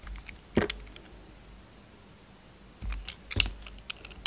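A solid pale yellow bar of soap, held in the hand, is faceted by shaving it with a utility knife blade. Short, crisp scraping and cutting clicks come in scattered bursts, with a sharp cut near the start and a cluster of bright, quick slices toward the end over a quiet background.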